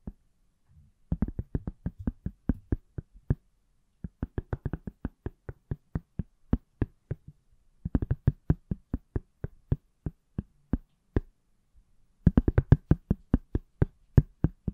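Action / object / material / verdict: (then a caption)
tap / smartphone in a silicone case / silicone / none. Fingertips and nails tap the back of a palm-sized iPhone in a pale yellow silicone/plastic case. Quick runs of dry, short knocks come in four bursts separated by brief pauses, each tap dying almost instantly. The taps have a dull low thud with a faint bright click on top.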